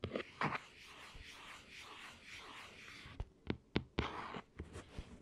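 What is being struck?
Plastic clamshell handheld game console.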